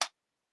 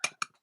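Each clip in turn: First: plastic espresso machine panel. Second: coated aluminum machine base.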